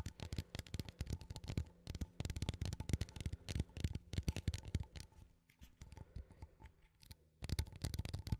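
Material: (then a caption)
Metal. A small cylindrical metal coffee tin, held in both hands, is tapped and scratched with fingertips and nails on its lid and side. Quick, dull, low-heavy taps come in dense bursts, easing into a quieter stretch of soft scratching before brisk tapping resumes at the end.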